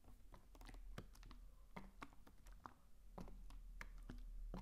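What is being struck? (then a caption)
Plastic mouthwash bottle. Fingertips tap the sides of a medium blue plastic mouthwash bottle with a white cap, hollow and filled with liquid, held close to the mic. The bottle is then tilted toward the mic. Quick, uneven hollow plastic ticks and knocks sit over a low, steady rumble, with short bright clicks and brief decay.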